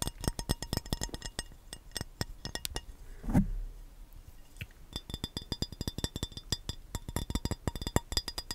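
An empty, hollow, rectangular clear glass baking dish is held in the hands and tapped with the fingernails and fingertips. Dozens of quick, dry, clicking taps land in irregular bursts, each dying out almost at once. Around the middle, a louder, duller thump with a low body cuts through before the bright nail clicks resume at a steady pace.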